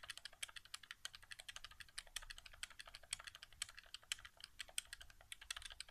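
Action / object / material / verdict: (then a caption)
tap / plastic game controller / plastic / none. Fingertips rapidly tap and press the face buttons and the area near the touchpad of a white, hollow plastic PS4 controller resting on carpet. The result is a quiet, fast, irregular stream of short, dry plastic clicks and taps, bright and crisp with very little low end.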